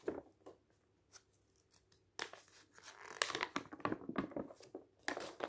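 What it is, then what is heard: Newsprint paper booklet. A thin newsprint-style paper booklet lies open on a table while fingertips riffle and turn its pages. The result is a dry, crinkly rustle of sharp paper swishes and crackles, sparse at first and then becoming denser and brighter.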